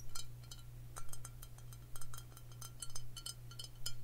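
Long fingernails tap a Crown Royal Vanilla glass whisky bottle filled with amber liquid in quick, fairly steady clicks. Each tap gives a short, bright glassy clink with a ringing tone near 1.3 kHz that fades almost at once. A steady low hum runs underneath throughout.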